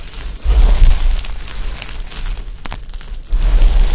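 Hands press flat palms into a heap of dry pastel soap chips, scoop and squeeze handfuls, then crumble a few chips with the fingertips. The result is a crunchy crinkling texture with soft, low rumbling presses and scattered bright crackles.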